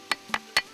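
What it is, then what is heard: Ringing andesite stone block. A long andesite stone block, believed to have served as a ceremonial percussion instrument, is struck three times to test its sound. Each strike gives a short, bright, ringing knock, centered high around 2 kHz, that fades almost at once.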